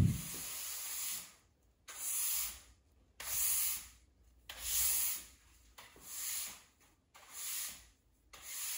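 A plastic-bristle push broom on a long handle sweeps a large, solid, bare cement floor indoors while the person stands mostly still in flip-flops. The bristles rub and scrape across the rough surface in seven separate bright, hissing strokes, with short quiet gaps between them.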